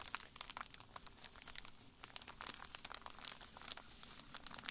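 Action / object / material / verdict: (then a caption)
scrape / foil-and-plastic candy bar wrapper / foil, plastic / none. Latex-gloved fingertips press, rub and crinkle a flat, full foil-and-plastic candy bar wrapper lying on a grey table. The result is a quiet, steady stream of dry crinkles and crackles, with many short, sharp clicks and bright, hissy crackle across the high range and little low end.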